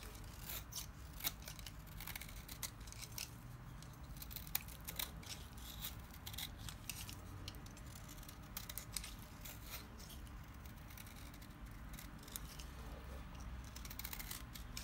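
A solid lime-green oval bar of dry soap, held in the hand, is shaved with a small knife. Dense, crisp scraping and cutting strokes give bright, sharp crackles over a low, steady rumble.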